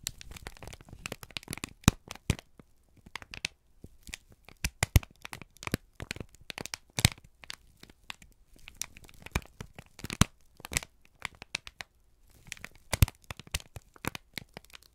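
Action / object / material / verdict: scrape / thin brown kraft paper sheet / paper / none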